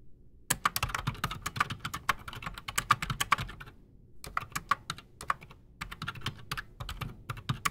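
Fast typing with both hands' fingertips on a solid, full-size black Redragon mechanical keyboard with PBT plastic keycaps and silent switches, resting on a desk. Dense bursts of short, dry clicks and muted thocks come in three runs separated by brief pauses, each keystroke dying out almost instantly.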